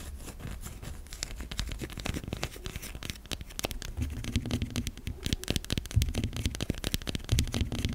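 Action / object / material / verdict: scrape / solid bar of soap / soap / none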